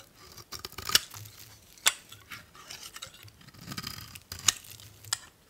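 A solid beige bar of old soap, held in the hand, is shaved with a metal utility blade into thin curls. Dry, bright scraping and crisp crackling run through the clip, broken by a few sharp clicks as the blade bites.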